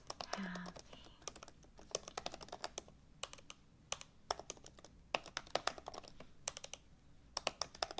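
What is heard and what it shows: Fingertips type steadily on the low-profile plastic keys of an open MacBook Pro laptop with an aluminum body, producing a quick run of short, bright, dry clicks with no ringing. A brief, faint murmur of speech may be heard near the start.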